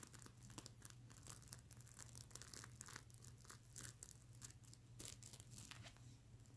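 Long nails scratch across a large, soft, stuffed mermaid unicorn pillow covered in flip plastic sequins on fabric, flipping the sequins back and forth. The sound is a dense run of bright, crinkly scratches and quick sharp clicks over a steady low hum.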